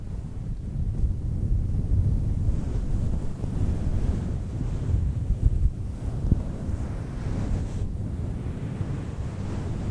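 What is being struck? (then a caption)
Synthetic fur microphone windscreen. Long nails scratch and brush a fluffy faux fur microphone windscreen. The result is a steady, muffled low rumble like wind or surf, with almost nothing bright and a few slightly sharper scrapes around the middle.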